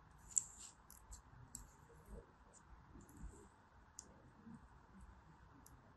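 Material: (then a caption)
Pressed soap. A small, solid teal dome of dry, crumbly pressed soap is held in the palm and sliced into ridges with a thin metal blade. Quiet, bright scraping and cutting sounds crackle as the soap crumbles, with three sharper clicks standing out.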